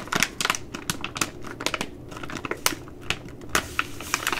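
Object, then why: Plastic laminate pouch. A Ready Rice plastic laminate pouch is bent, folded and crinkled by hand with long nails. The result is a rapid, irregular series of sharp, bright crackles and crinkles over a soft, steady rustle.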